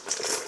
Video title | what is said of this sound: French Fries | Hear how crispy that sounds? That does not sound like a mushy fry, right?